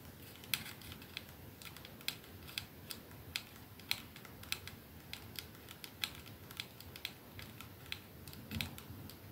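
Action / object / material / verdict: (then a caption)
tap / glass perfume bottle with metal band / glass / none. A 212 capsule glass perfume bottle with a silver band rests in one palm while the fingernails of the holding hand tap it and the other hand's nails tap its glass end. Slow, irregular, sharp clicks with a bright tone centered around 2.6 kHz die away almost instantly over a quiet, hissy background.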